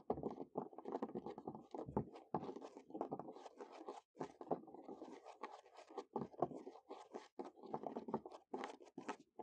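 Natural medium-length fingernails and fingertips quickly scurry, tap and scratch across the boards of a large, solid, weathered wooden picnic table top outdoors, moving toward the camera. Dense, dry, rapid tapping and scratching fills the clip in the midrange, with bright scratchy edges and a few brief pauses between flurries.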